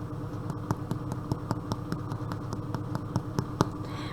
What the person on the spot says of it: tap them on the bottom, and if they sound hollow, they are done.